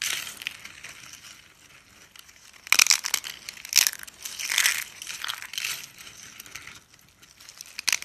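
A row of thin, cream-pink dry soap slices, solid and brittle, is bent and snapped apart with the fingers. Dry, bright crunching and crackling fills the clip, with almost no low end and sharper, louder snaps near the middle and at the very end.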